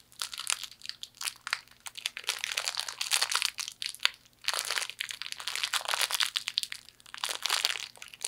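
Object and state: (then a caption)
Wrapped fortune cookie being crushed. A small hollow fortune cookie in its plastic wrapper is crushed in a fist and crunched through the wrapper. Dense, bright crinkling and crackling crunches come in irregular bursts, briefly easing around the middle before continuing. The sound is dry with no low end or ring.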